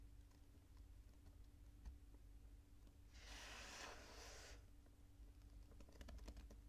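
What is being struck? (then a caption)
Kinetic sand. Bare fingertips grab, squeeze and crumble clumps of purple kinetic sand from a loose pile on a white table, letting them drop back onto the pile. Soft, scattered grainy ticks sit over a steady low hum, with a bright, hissing crumble swelling in the middle of the clip. It ends in a quick patter of light clicks as the pieces fall.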